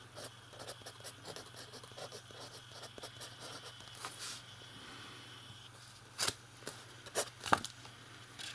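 A fountain pen writes on the page of an open lined paper notebook, its nib scratching the paper in soft, quick, uneven strokes over a steady low hum. The scratching fades to near quiet midway, then a few sharper, brighter scrapes stand out toward the end.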